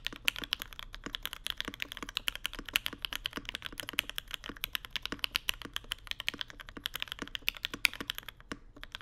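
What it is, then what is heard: Mechanical keyboard with plastic keycaps on an aluminium plate. Two hands type rapidly with their fingertips on a Mode Sonnet mechanical keyboard with Vermilion Bird switches, white plastic keycaps and an aluminum plate inside a dark case. A steady stream of short, crisp, bright clacks with almost no low end or ring runs throughout, with a few harder strokes popping out above the rest.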